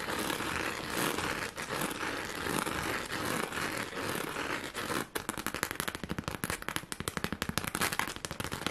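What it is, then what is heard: Plastic rhinestone sheet. A pink plastic rhinestone sheet, held by its top edge, is scratched quickly with long nails, making a dense, bright, continuous crackling scrape for about five seconds. It then switches to fast, sharp, dry taps that click in a rapid, uneven series until the end.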